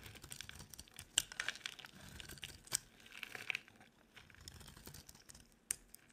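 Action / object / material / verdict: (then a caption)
scrape / soap bar / soap / none. A utility knife blade scrapes a dry, solid, cream-colored rectangular soap bar held in the hand. It makes a quiet, bright, crisp crackle of short scratchy strokes with a few sharper snaps, and little low end.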